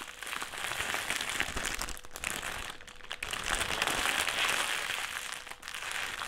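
A black, foil-lined metallised plastic crisp packet is held in the hands and crumpled and twisted. It makes dense, continuous crinkling and crackling that is mostly bright and high, with brief softer dips between bursts of handling.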